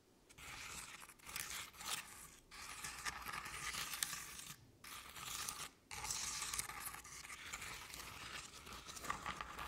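Long painted nails scratch and tap the sides of a medium artificial jack-o'-lantern covered in crinkled orange paper. The result is a steady, bright, dry crinkling and rasping texture with little low end, broken by a few brief pauses.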